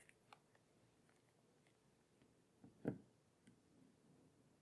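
Long painted fingernails and fingertips tap and scratch across the dark matte plastic back of a small, flat, hollow tablet lying face down on a table. Quiet, scattered clicking taps and faint scratching are heard, with one louder, hollow-sounding tap near the three-second mark that dies away quickly.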